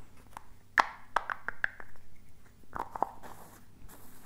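A small, hollow blue and teal plastic tub with a lid and a printed label is tapped and scratched with fingertips and nails. Sharp, hollow plastic taps with a mid-pitched ring that dies almost instantly alternate with soft, bright scratching, all quiet over a low background hum.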